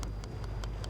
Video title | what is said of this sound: Wreck of the Spanish Armada - FULL EPISODE - Time Team | you tap it it's like iron is metallic really metallic